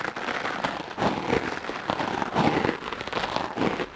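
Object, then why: Foam microphone windscreen. A hard-bristle wooden clothes brush is dragged repeatedly across a soft dark-blue foam windscreen covering a microphone. It makes dense, scratchy crackling bursts in rapid succession, centered in the midrange with a fizzy bright edge. Each stroke swells and fades quickly, blurring into a continuous rustling texture.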